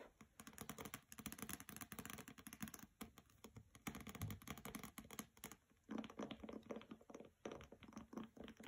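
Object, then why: Hardcover book with glossy paper jacket. Fingernails tap rapidly across the cover and edges of a hardcover copy of "Graceling" with a glossy paper jacket, resting on carpet. The quick, dry clicks come in dense bursts with a brief pause near the middle, each tap dying away almost instantly, sounding much like fast typing on a keyboard.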